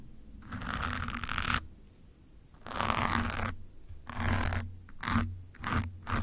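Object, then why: Foam microphone windscreen. A metal pin held in the fingers scratches over a soft, porous grey foam windscreen on top of a black microphone. The result is a series of rough, rasping scratch strokes, some long and some short, separated by brief quiet gaps. Each stroke carries a broad mid hiss with a deep, rumbling low thump beneath it.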